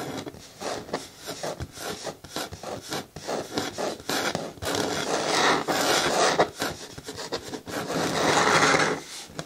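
Long natural nails on both hands scratch and rub the front side of a medium, hollow, hard green plastic bucket bin with a lid that looks empty. Quick, irregular scraping strokes give way to longer, steadier rubbing passes. The result is a dry, bright, raspy hiss.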